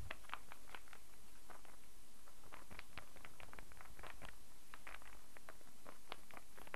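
A solid light-wood star burr puzzle is held and rotated while fingernails tap it and its pieces knock together. The result is a quiet, steady stream of short, dry, irregular clicks and knocks with a low background rumble.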